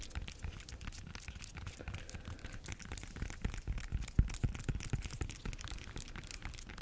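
Long nails scratch and tap the peel of a bunch of ripe bananas. The result is a soft, steady run of dry scratching with quick, dull taps. A few sharper clicks stand out in the middle.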